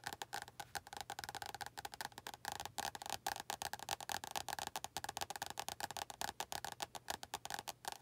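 Long acrylic nails tap rapidly on the glossy front cover of an orange paperback book held in both hands. About 44 quick, dry clicks with a woody, hollow tone around 800 Hz sound in a steady, uneven patter, each dying away almost instantly, with a bright edge and very little low end.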